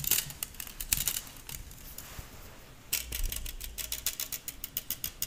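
Fingertips and nails pluck and strum the thin hollow wire loops of a stainless steel balloon whisk with a metal handle. Quick, bright, metallic ticks and plucks sound in irregular bursts with almost no ring. They fade into a quieter stretch midway, then pick up again in a steady run of sharp plinks.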